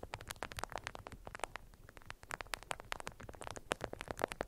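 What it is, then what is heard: Beeswax-coated cotton wrap around a cube. Long nails tap and scratch across the stiff faces of a beeswax-coated cotton wrap folded around a cube resting on green felt. Dense, rapid clicks and crinkly scrapes come in quick bursts with a bright, papery edge, each dying away almost at once over a faint background hiss.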